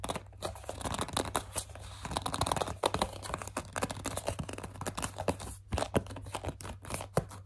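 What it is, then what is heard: Plastic cleanser bottle scratched and gripped. Long dark nails grip, scratch and squeeze a hollow white plastic CeraVe facial cleanser bottle. The result is a dense run of quick, dry scratching and crinkly plastic clicks, some sharper and brighter than others, over a steady low hum.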